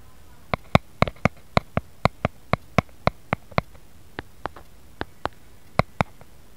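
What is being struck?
Round plastic lid.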